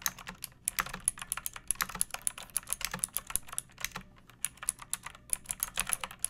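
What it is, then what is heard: Plastic mechanical keyboard being typed on. Fingertips with long painted nails type steadily on a pink plastic mechanical keyboard with round keycaps and a hollow case, resting on a wooden surface. A quick, uneven run of short, bright clicky keystrokes comes in bursts with brief pauses, each click dying away almost instantly over a faint low rumble.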